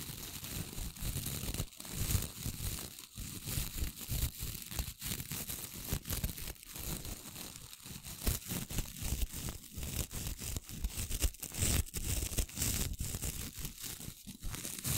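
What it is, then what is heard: Stiff-bristled wooden brush, scratched. Long nails repeatedly scratch and strum across the short, stiff bristles of a light wooden-handled brush held close to the mic. The result is a dense, continuous stream of rough, crackling scrapes with a crinkly, tearing texture, bright hiss on top and a heavy low rumble underneath.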